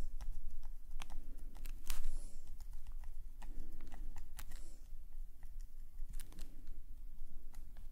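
A metal nib pen scratches rapid, short strokes across a black paper sketchbook page lying flat. The strokes come as quick, dry, bright scratches and clicks in an irregular rhythm over a steady low rumble, each one stopping almost at once.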